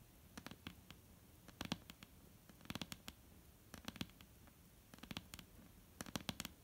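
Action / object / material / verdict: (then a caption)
tap / wooden tabletop / wood / none. Long painted nail tips tap on a solid, flat dark-brown wooden tabletop in quick clusters of light clicks. Each tap is short, dry and bright, with almost no ring, over a low, quiet background.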